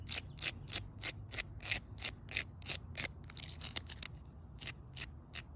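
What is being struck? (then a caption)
Concrete slab set with pebbles. A small stick held in the fingertips scrapes quickly across a solid outdoor concrete slab set with rounded pebbles. Short, bright, hissy scratching strokes repeat about three times a second in a loose rhythm, each stopping dead with no ring. A faint low rumble sits underneath.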